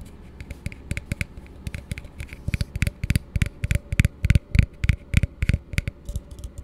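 An empty, hollow blue plastic tumbler held upside down close to the microphone is tapped with fingertips and nails in a quick, uneven flurry. The taps are short, dry knocks with a low hollow thump and a bright clicky edge from the nails, dying away almost instantly.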